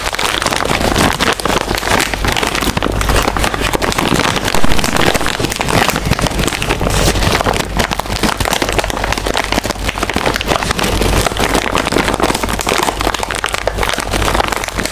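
A small, full, sealed metallized-plastic chip bag is held in both hands while fingertips and long nails squeeze, crinkle and scratch it. The result is a dense, continuous crackling rustle over a steady low hum, staying at an even level throughout.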